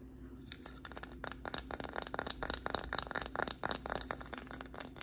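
Long nails scratch and tap across a small, flat, solid wooden "Grateful" sign with white painted lettering, held close. Dense, irregular dry clicks and short scrapes come in quick bursts over a faint low hum, each one crisp and bright with almost no ring.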